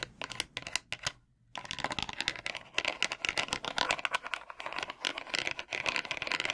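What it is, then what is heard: Bamboo massage brush. A small plastic hand scratches and taps the wooden pins and polished wooden back of a bamboo massage brush held in one hand. Rapid, dry, bright clicks and scratchy rasps run almost nonstop, with a brief silence just after the first second. Each tap dies away quickly.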